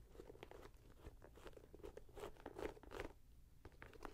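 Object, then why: Sneaker with leather and mesh upper. Long nails scratch and tap the leather and mesh upper and laces of a red-grey Nike Air Max 90 sneaker with a rubber sole, held in the hand. Quiet, irregular crunchy scratches and soft taps follow one another in a steady patter, with short dry ticks and a muffled low-mid body.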